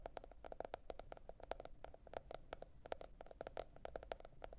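Long red nail tips tap on a teal printed cardboard hardcover notebook lying flat, producing a quick, uneven series of short, dry clicks. Each tap has a hollow mid-pitched knock around 660 Hz with a brief bright tick and almost no ring, over a faint low hum.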